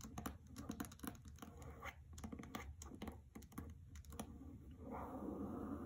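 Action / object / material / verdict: tap / hardcover book with paper dust jacket / cardboard and paper / none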